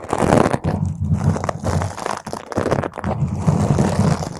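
Long nails on both hands scratch and claw intensely at a round purple foam microphone windscreen. The sound is a dense, muffled, crunchy rumble, heavy in the low end with almost no high brightness. It comes in sustained bursts separated by brief dips.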